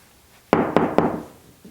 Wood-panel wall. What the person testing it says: 이것은 판넬 뒤에 일부 공간이 있음을 의미합니다